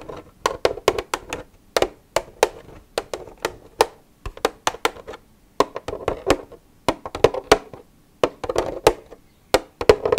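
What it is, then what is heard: Empty plastic milk jug. Long red nails tap and scratch on an empty, hollow white plastic milk jug. Quick bursts of sharp, dry clicks carry a hollow mid-range resonance, with soft scratchy rustling in between. Each tap dies away almost instantly, and brief pauses separate the bursts.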